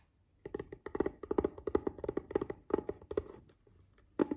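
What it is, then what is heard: Hollow plastic case. Fingertips and nails of one hand tap and scratch a closed, hollow, palm-sized cream-white rigid plastic case lying on a fabric bed cover. About twenty quick, dry, hollow knocks with a mid pitch come in an uneven run, mixed with faint scratching, then a pause and a final short burst.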